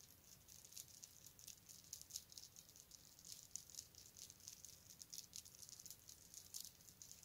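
A long necklace of small metal beads is lifted and poured into an open palm, and the beads rattle and clatter against each other in a quiet, continuous, bright patter. The sound is high-pitched and crisp with rapid tiny clicks and almost no low end.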